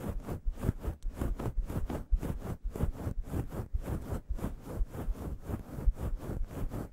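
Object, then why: Synthetic fur microphone windscreen. Long yellow nails scratch a grey fluffy synthetic fur windscreen on a microphone in staggered strokes. The result is a steady run of soft, rumbling, low-heavy brushing swishes, each stroke swelling and fading quickly at an uneven pace.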